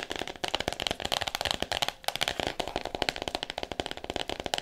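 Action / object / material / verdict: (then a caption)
tap / hardcover book in cellophane wrap / cardboard, plastic / none. Fingernails tap quickly on the front cover of a solid "All About Me" hardcover book wrapped in clear plastic. The taps come as a rapid, uneven run of short, dry clicks with a crinkly, crackling edge. Each tap dies away almost instantly, with most of the energy in the bright upper range.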